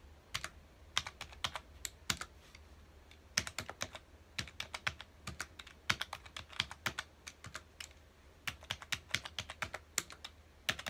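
Fingertips of both hands rapidly press the keys of a full-size black plastic computer keyboard resting on a dark desk. Quick, bright, clicky taps come in uneven bursts with short pauses, each dying away almost instantly, with little low-end weight over a faint steady hum.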